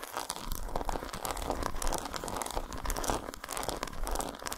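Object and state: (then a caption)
Dark chocolate bar. Long nails scratch along the grooves of an unwrapped solid dark chocolate bar lying patterned side up on a towel. A dense, continuous run of quick, dry scratches and crinkly scrapes holds a fairly steady level, with a bright gritty texture over a soft low rumble.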